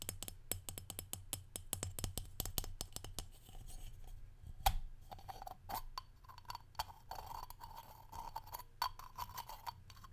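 A small, hollow brushed aluminum or steel salt shaker with a perforated domed top is held in one hand while fingernails tap and scratch its top and body. Quick, dry, clicky taps come in a rapid run at first, then give way to softer scratching with a faint metallic tone that rings only briefly. One sharper tap stands out about halfway through.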